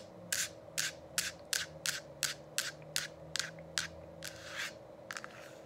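Long acrylic nails rub and tap on the hollow, lit plastic dome cover of a diffuser, making 13 short, bright, scratchy bursts at an uneven pace. A steady low hum runs underneath throughout.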